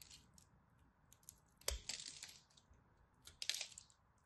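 A craft blade shaves and chips the scored edge of a solid, dry, purple-and-white striped soap bar. The result is crisp, bright scraping and crackling bursts that cut off quickly, with the loudest flurries of chipping coming in two clusters near the middle and toward the end.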